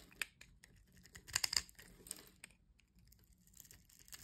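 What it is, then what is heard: Bar soap being scraped. A metal blade scrapes and slices a solid white bar of soap held in the hand, shaving it into fine crumbly shavings. Dry, bright crunching and crackling ticks come in an irregular, quiet patter, with a louder flurry of crisp scrapes just past the middle. There is almost no low end, and each crunch stops short with no ring.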